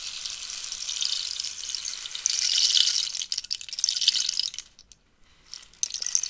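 Long nails scratch and tap the holed surface of a hollow cactus wood rainstick held upright. The result is a bright, airy rustling hiss that swells and thins, with a near-silent pause just before the five-second mark before the scratching starts again.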